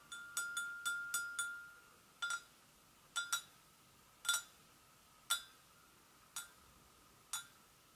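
Long acrylic nails tap the sides and handle area of an empty, medium-sized, hollow white porcelain gravy boat. Thirteen bright, clicky taps come quickly at first, then more sparsely, each with a short glassy ring around 1.3 kHz and 3.5 kHz that fades within a fraction of a second.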